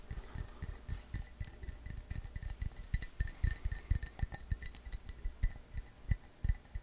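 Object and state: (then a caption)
Ceramic mug tapped. A hollow, empty-looking blue glazed ceramic coffee mug, held in the hand, is tapped quickly with fingertips and nails on its outside and rim. The result is a fast, uneven stream of dull, low-pitched knocks that die away almost at once, with faint light clinks above them.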